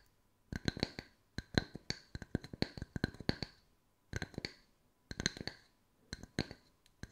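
Two matching small, round, solid wooden tree-slice coasters, held one in each hand, are tapped with long nail tips. The result is quick bursts of crisp, dry clicking taps, each with a short bright ring. The bursts come in irregular clusters separated by brief pauses.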